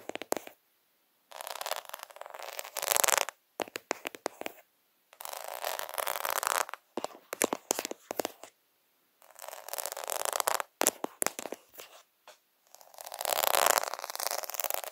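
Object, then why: Plastic half-pearl sticker sheet. Fingertips and nails scratch and tap the beads on a plastic faux pearl sticker sheet of half-pearls. Bursts of dry, rattling scratching and quick clicky taps, bright with almost no low end, alternate with short silences.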